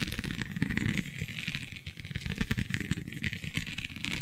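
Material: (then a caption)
Vinyl. Long glittery nails scratch and pinch across a flexible, iridescent holographic vinyl sheet covered in raised scale-like bumps. A dense run of quick, crackly scratches and soft taps mixes low, muffled thumps with brighter plastic crinkle. The strokes continue steadily, at a fairly even level throughout.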